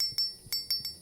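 A steel AR-15 bolt from a rifle that has fired over 30,000 rounds is struck four times to check it for micro stress fractures. Each strike gives a clear, high metallic ring that fades within a fraction of a second, rather than the dull sound a fractured bolt would make. The bolt is judged in good shape with no stress fractures.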